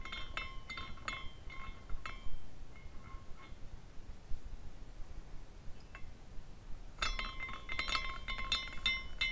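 A small clear glass carousel ornament turns, its glass horses rotating and clinking against glass. The result is bright tinkling chimes that ring around 1 and 2 kHz. They come in clusters at the start and again after about 7 seconds, with a quieter stretch between.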